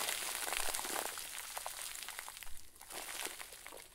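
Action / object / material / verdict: shake / plastic bag filled with fluffy stuffing / plastic / none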